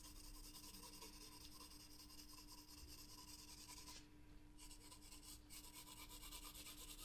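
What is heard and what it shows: A green graphite pencil rubs dense shading strokes across a paper sketchbook page that is partly covered by a loose protective sheet. The result is a continuous, quiet, bright scratchy rasp over a steady low tone, with the high scratching briefly thinning out about two-thirds of the way through before resuming.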